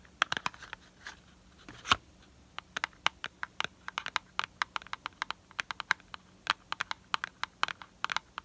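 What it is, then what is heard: Cardboard box. A small, hollow printed cardboard product box is held in the hand while fingernails tap and scratch its sides. Many short, dry, crisp ticks and brief scratches come in quick irregular bursts, bright and papery, centered around 1.1 kHz, with almost no low end and virtually no ring after each hit.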